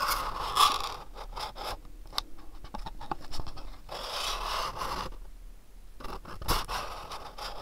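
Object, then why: Small hollow cardboard box. Fingernails tap and scratch the front and sides of a small, hollow, house-shaped printed cardboard gift box held in the hands. Dry, bright scratching bursts centered around 1 kHz alternate with scattered short, sharp taps that die away almost at once. The sound is quiet and close throughout.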